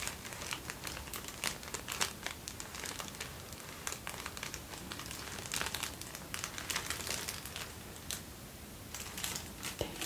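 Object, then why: Thin tissue paper sheet. A folded sheet of thin white tissue paper is crinkled and bent between fingertips, handled at arm's length and then closer. Soft, dense, bright crinkling and crackling comes in quick irregular bursts over a quiet hiss, with each sharp snap dying away almost at once.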